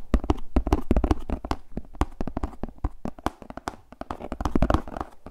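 Fingertips rapidly tap and scratch the face of a translucent plastic frisbee disc with a red rim while the disc is moved around. The result is a dense, uneven stream of short, dry taps with a low thump and almost no ring, broken up by softer scratching rustle.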